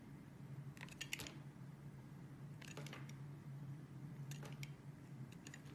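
A metal utility blade carves thin slices from a solid, translucent yellow glycerin soap bar held in the hand. It makes short bursts of crisp, bright scraping and cutting sounds in four clusters. A steady low hum runs underneath throughout.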